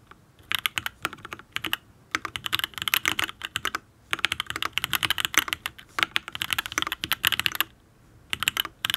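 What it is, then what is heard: Mechanical keyboard with aluminium case and ABS keycaps. Fingertips type on a Matrix Ablex Penpen full-size custom mechanical keyboard with an aluminium case, ABS keycaps and Tealios V2 linear switches. Quick, bright, clacky keystrokes come in rapid bursts, separated by brief pauses. Each press dies away almost at once, leaving little low-end thump.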